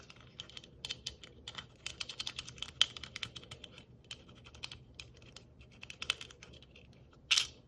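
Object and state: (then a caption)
Plastic Christmas bauble with metal cap. Long nails tap quickly and lightly on a hollow, red and white striped, glittered plastic Christmas bauble with a small silver metal cap, held in one hand. A long string of dry, bright, clicky taps sounds, with no ring after each and a sharper, louder tap near the end.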